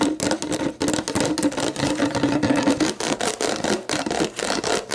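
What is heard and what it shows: Long black nails scratch and tap an upright, clear plastic sports drink bottle with a ribbed lower body and a label, hollow and mostly empty. The result is a dense, continuous rasping scratch with quick clicky taps and a hollow plastic tone around 273 Hz. The bright, crackly texture rises and dips in rapid bursts.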